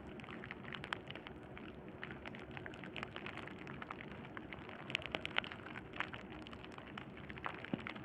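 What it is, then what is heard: Plastic bubble wrap. Fingertips of both hands press, scratch and pop the hollow air bubbles of a clear plastic bubble wrap sheet resting on burlap. The result is a continuous, quiet crackling of dense, bright clicks, with a few sharper, louder pops standing out in the middle.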